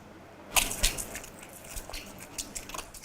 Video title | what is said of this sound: ✨ lachha pratha kaise banaye. | आवाज से पता चल रहा है कितना करारा बना है।